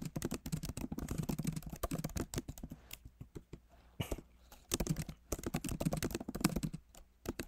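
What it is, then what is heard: Laptop keyboard being typed on. Both hands type with their fingertips on a backlit MacBook Pro Magic Keyboard with plastic keycaps in an aluminum body. Quick, soft, clicky taps come in dense bursts, with a sparser stretch in the middle. Each tap is short and dull with a low body and little ring.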